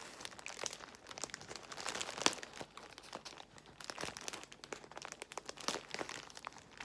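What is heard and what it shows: Long nails scratch and fingers pinch and crinkle a large bundle of clear plastic bubble wrap. The result is a steady, bright crackle of dense crinkling with many quick, dry ticks and almost no low end. One sharper snap stands out about a third of the way through.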